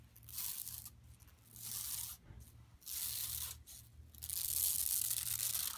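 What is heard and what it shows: Long nails scratch and rub the weave of a flat, empty, yellow woven plastic mesh tote bag lying on carpet, using both hands. Four bright, hissy bursts of rough scratching swell and fade with short quiet gaps between them, over a faint steady low hum.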